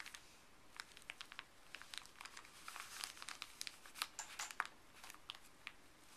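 Gloved fingers pinch a small folded white paper wrapper with blue print, then press and rub it flat on a wooden table. Quiet, bright crinkling runs throughout, broken by many sharp, short crackles that fade almost instantly, with little low-end weight.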